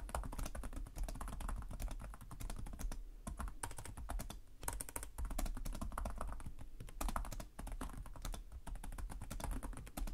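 Both hands type rapidly with short-nailed fingertips on the plastic chiclet keys of a black laptop resting on a desk. A dense, steady stream of soft, short clicky taps with a low, thumpy body is heard, with brief pauses around three and four and a half seconds. Each tap dies away almost instantly.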